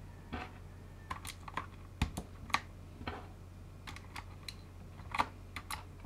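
A full-size mechanical keyboard fully fitted with dye-sub PBT plastic keycaps is typed on rapidly with the fingertips of both gloved hands. About sixteen short, sharp tapping clicks land at an irregular pace, each dying away almost at once, over a steady low hum.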